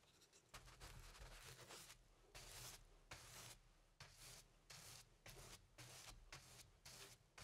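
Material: Cotton canvas.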